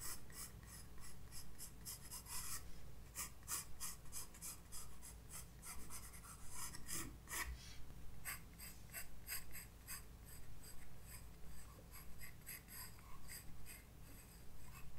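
A graphite pencil draws strokes on a white paper page of a spiral-bound sketchbook resting on a desk. Short, bright scratching strokes come in irregular bursts over a steady low hum.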